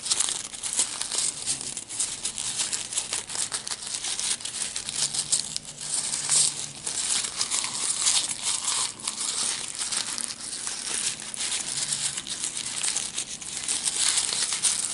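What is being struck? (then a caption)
Ball of printer paper. A small, light, loosely packed wad of white printed office paper is crushed, crumpled and worked between the fingertips and palms of both hands, with no tool. This produces a steady, dense stream of bright, high crinkling and crackling for the full fifteen seconds, with almost no low end.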